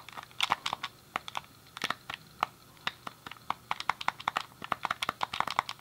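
A hand-sized, hollow, grey plastic SNES game controller is worked by hand: a thumb clicks the D-pad and fingertips press the face buttons. About thirty short, dry plastic clicks sound in quick, uneven bursts, each with a bright tick centered near 1 kHz and almost no low end or ring.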